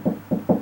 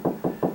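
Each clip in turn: First: hollow drywall between studs. Second: drywall over a stud, solid.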